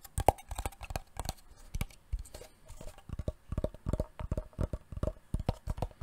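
A wooden box is tapped repeatedly with fingertips for ASMR, giving a quick, uneven stream of short, dull knocks. Each tap is low and thuddy with a slight hollow mid-range tone around 800 Hz and almost no ring, and some taps land louder than others.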